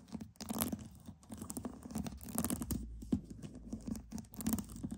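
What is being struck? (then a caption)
Pearls. Pearls are tapped and scratched in quick, uneven bursts of small clicks and rasping scrapes. Each sound is short with almost no ring, centred on a soft low-mid tone, with occasional brighter scratchy flurries.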